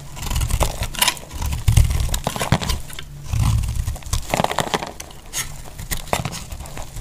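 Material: Soap.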